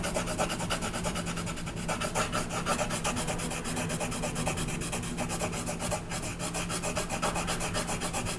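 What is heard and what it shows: A brown colored pencil rubs rapidly back and forth over the horse's body on a flat paper coloring page held down by the left hand, shading in dense strokes. The result is a steady, fast scratchy rasp with a rhythmic stroke pulse and bright grainy texture over a constant low hum.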